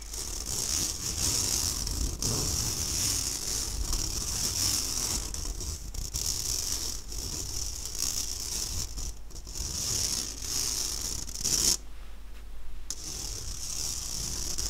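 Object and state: Stainless steel mesh sieve scratched.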